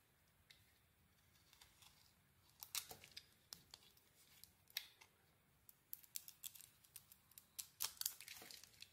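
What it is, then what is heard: Bar of soap being scraped and cut with a blade. A Cleopatra bar of soap is scraped and cut into its cream interior with a blade. Quiet, bright, crisp scraping and cutting strokes come in irregular bursts that start sparse and grow denser toward the end, each one short with almost no low end.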